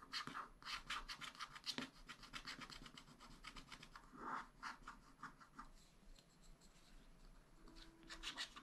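A wooden stylus scratches the black coating at the lower right of a sheet on a spiral-bound scratch-art pad. Quiet, rapid, bright scratching strokes come in quick bursts, with a few louder scrapes and brief pauses throughout.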